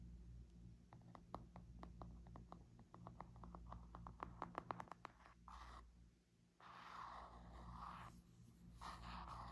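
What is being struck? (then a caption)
Spiral notebook with laminated cardboard cover. Nails and fingertips tap and scratch a small, hand-held spiral-bound notebook with a laminated cardboard cover and paper pages. For the first five seconds there is a quick run of sharp, dry clicks, some louder than others. After a brief quiet gap, they give way to longer, breathy scratching strokes over a steady low hum.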